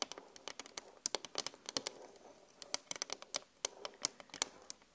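Long glittery acrylic nails tap and scratch on the solid glass pane of a flat, LED-lit vanity mirror. Many quick, bright clicks arrive in an uneven run, with light scratching between them. Each click dies away almost instantly, and there is no low-end body.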